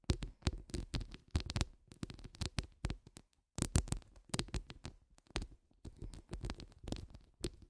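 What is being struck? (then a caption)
Metal mesh microphone grille. Long nude acrylic nail tips scratch down the grille of a hollow metal mesh microphone head. The result is a rapid series of close, crackly scraping strokes with deep, boomy low thuds under bright, hissy streaks, broken by a brief silence partway through before the scratching resumes.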